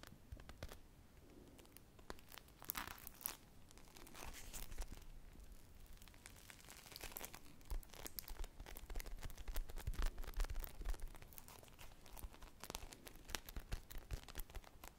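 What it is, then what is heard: Foam squishy toy being scratched. Long nails and fingertips scratch and squeeze a small teal-glazed polyurethane foam ice cream squishy toy with a wooden-look stick, made of solid soft foam. Close, dense crinkling and scratchy tearing-like rustles come in a steady stream of short, irregular taps over a low, soft bed. Louder bursts of crackle rise around the middle and later.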